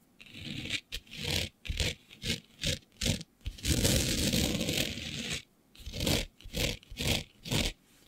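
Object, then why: Glitter-coated fabric sheet. Long nails scratch and scrape a flat sheet of black fabric covered in fine green glitter. Quick, irregular bursts of rough, bright scraping, each with a low rumble underneath, surround one longer sustained scrape in the middle.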